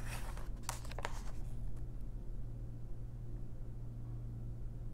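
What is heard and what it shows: A long fingernail traces and scratches across a patterned page of an open paper coloring book, making soft, bright rasping strokes in the first two seconds. A hand then turns the page. A steady low hum runs underneath throughout.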